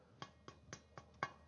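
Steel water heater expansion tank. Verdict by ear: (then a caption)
Full. Five dull, short taps on the water-filled side of a steel water heater expansion tank, each dying out almost at once with no ring. The tank sounds full of water rather than hollow, a sign that its bladder has failed.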